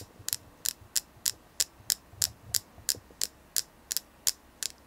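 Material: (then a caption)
Selenite. A selenite crystal is tapped in a steady, quick rhythm, giving 14 short, dry, bright clicks with almost no low end and no ring after each tap. A faint low hum sits underneath.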